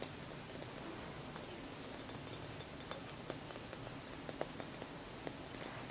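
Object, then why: Glass plasma ball sphere. A large, hollow, clear glass plasma ball is tapped rapidly with the fingertips and short nails of both hands. Quick, bright ticks and clicks patter steadily over a soft, hissy background, with a few sharper taps giving short glassy rings.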